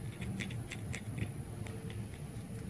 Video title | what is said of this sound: Knife Overview: Kershaw Oso Sweet | the sound it makes just sounds cheap to me